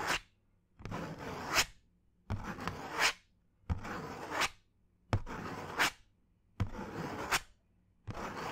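A thin brown cardboard sheet held close to the ear is scratched with fingernails in seven separate bursts of dry, rasping scratching. Each stroke is a bright, noisy scrape that swells toward a louder finish before cutting to near-silence, with short pauses between strokes.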